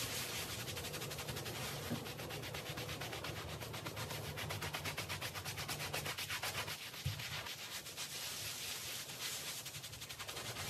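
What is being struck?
Wet woven textile rug scrubbed with a stiff brush.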